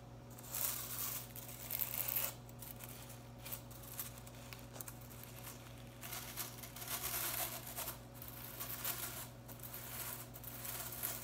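Long nails scratch and fingers run through the ends of a handheld broom head with blue plastic bristles. The result is dry, bright, crinkly scratching and rustling in uneven bursts, with a steady low hum underneath.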